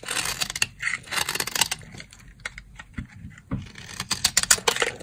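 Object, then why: Dry soap bar shaved with a blade. A box-cutter blade shaves the corner of a dry, solid brown soap bar into fine flakes. Bursts of crisp, bright scraping and crackling come in uneven strokes, with short quiet gaps between them.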